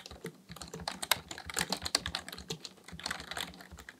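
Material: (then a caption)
Plastic. Both hands type steadily with their fingertips on a black plastic full-size computer keyboard resting on a desk, tapping the plastic keys. A quick, uneven stream of short, bright clicks and clacks is heard, each tap crisp and dry with almost no ring.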